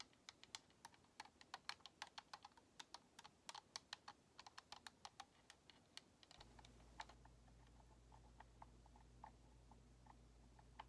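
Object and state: Plastic game controller.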